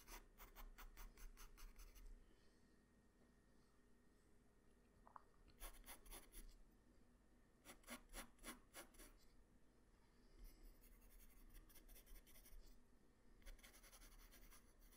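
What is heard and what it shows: A graphite pencil held in the fingers scratches quick strokes along the right side of a sketch on a flat white drawing paper sheet. Clusters of rapid, dry rasping strokes with a bright, papery edge come in bursts, separated by quieter pauses with only faint low background hum.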